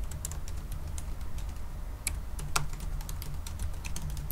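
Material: Plastic.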